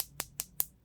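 Four quick, crisp taps on the dry acrylic resin of a freshly sculpted nail, with the nail form removed, give short, bright clicks with almost no ring. The clear, non-dull sound shows the resin has dried and barely sticks any more.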